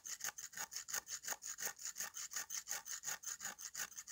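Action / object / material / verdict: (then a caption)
scrape / slab of dried mud scraped by a metal knife blade / dried mud / none. A large, flat slab of dry, crumbly red mud, held in one hand over a pile of red powder, is scraped across its surface with a metal kitchen knife blade, shaving off powder. About 24 quick, dry, rasping strokes come in a steady rhythm, bright and scratchy with a high hiss and almost no low end.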